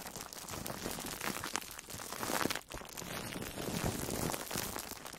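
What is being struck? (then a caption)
Foam sponge wrapped in plastic cling film. An orange-slice-shaped foam sponge wrapped in plastic food wrap is squeezed with fingertips and long nails. It makes a steady stream of dense, bright crinkling and crunching with soft squishy pressure underneath. The sound rises and falls gently over the clip.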